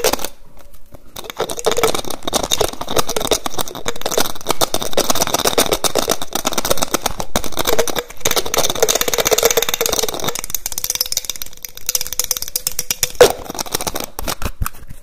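Fingertips and nails rapidly tap and twist the white plastic cap on a small clear plastic bottle. The result is a dense, fast stream of sharp clicks and scratchy rattling, with a faint steady tone in the middle range late in the clip and one louder snap near the end.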